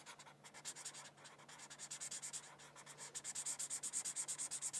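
A white felt-tip marker is rubbed back and forth over a thin paper coloring sheet resting on a hardcover book in continuous coloring strokes. It makes a quick, steady run of bright, hissy scratching strokes that grow louder and sharper toward the end.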